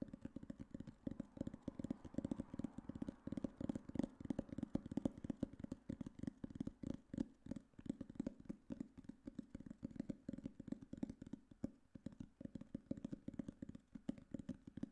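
Fingertips and nails tap and scratch the solid, paper-covered board cover of a black hardcover book. The result is a quiet, steady stream of rapid, dry taps with a low-mid tone and very short decay, mixed with soft scratching.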